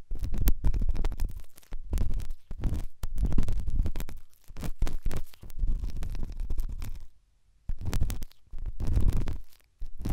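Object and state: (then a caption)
Silicone ear scratched by a pen. A pen with a white tip, held by the fingertips, scratches and rubs inside the ear canal of a left white silicone dummy ear on a binaural microphone. Heard are close, muffled, deep rubbing and scratching bursts with short pauses between strokes, dominated by low rumbling tones.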